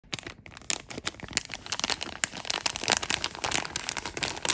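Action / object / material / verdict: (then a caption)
scrape / plastic film packaging bag with foam insole / plastic film / none. Fingertips crinkle a glossy blue and clear plastic film bag holding a memory foam insole, held up close. A dense run of bright, crisp crackles and rustles starts quietly and grows steadily louder and busier, with sharp snaps throughout and almost no low end.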